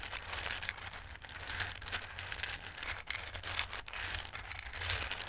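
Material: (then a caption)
Dried pasta. Hands with long red-painted nails and flat fingertips rub and shuffle through a full, shallow, dark round bowl of small, hard, dry red, yellow and green tree- and star-shaped Christmas pasta. The result is a steady, bright, crisp rustling and clattering texture of many quick pieces shifting against each other, over a faint low hum.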